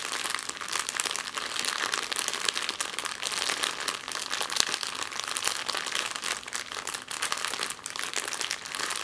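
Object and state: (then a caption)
Thin plastic bag crinkled. A thin, empty clear plastic bag is scrunched and scratched on a table with long nails and fingertips. It gives a steady, dense crinkle of bright, crackly rustling with no low end, swelling and easing slightly throughout.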